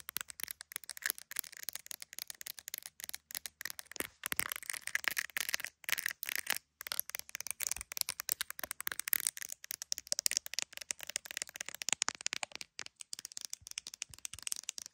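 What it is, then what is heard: Phone in plastic case tapped and scratched by long nails. Very long acrylic nails tap and scratch quickly across an iPhone's clear plastic case, decorated with colorful resin gummy bears, and around its camera area while the phone is held in both hands and records. The result is a dense stream of sharp, bright clicks and scratchy ticks with almost no low end and only brief pauses.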